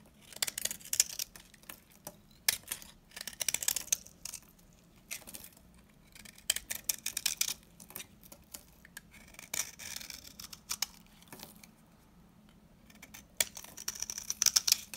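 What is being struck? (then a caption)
Laundry soap bar scraped with a knife blade. A solid, hand-sized, old dry orange-yellow laundry soap bar is held in the hand and scraped and cut with a metal utility knife blade, with crumbly chips flaking off. Bursts of dry, high, scratchy scraping and crisp crackling come in clusters separated by short near-silent pauses, with almost no low end.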